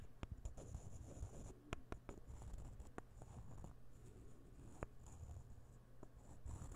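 A partly assembled set of solid light-wood puzzle ball pieces is held close to the microphone and rubbed and tapped with the fingertips. Quiet, dry scratching and rustling run throughout, broken by short, sharp wooden clicks that die away almost instantly. A faint low hum sits underneath.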